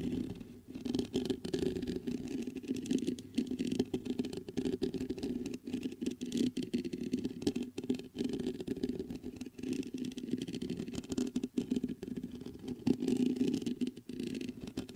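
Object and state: Metal microphone grille being scratched and tapped.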